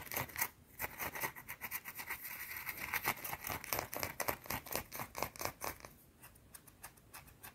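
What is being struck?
Soap bar.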